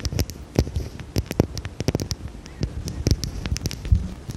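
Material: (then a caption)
Glass. Long red nails tap rapidly and irregularly on a small dark square glass perfume bottle with a cap, held in the hand. Each tap is a short, dry click with a soft low thump underneath and a bright tick on top, dying away almost at once. The clicks come in uneven clusters over a quiet background.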